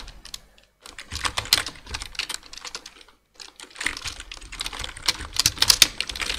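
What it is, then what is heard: Plastic computer keyboard being typed on. Two hands type with their fingertips on a black plastic full-size computer keyboard, producing rapid bursts of short, bright, clicky key taps. The taps come in quick runs separated by brief silent pauses, each click dying away almost instantly with little low end.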